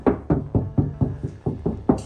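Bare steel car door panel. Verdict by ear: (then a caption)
Tinny. Nine quick taps on the bare steel door skin of a 2024 Ford Ranger Raptor, a panel not yet soundproofed, each giving a short, hollow knock. The knocks die away fast with a midrange ring around 250 Hz, and the panel sounds tinny compared with the treated one.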